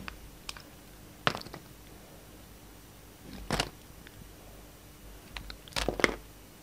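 A palm-size solid purple soap bar with pink streaks, held in the hand, is cut and shaved with a yellow utility knife blade. Short, crisp, bright scraping bursts and small clicks stand out against a quiet background, each slice ending quickly with almost no ring.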